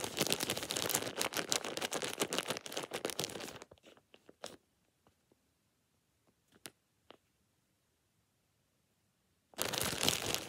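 A thin, empty plastic shower cap is rubbed and crinkled between the fingers of both hands up close. Dense, bright crinkling fills the first few seconds, then thins to a few sparse, sharp crackles and near silence. Continuous crinkling returns at the end.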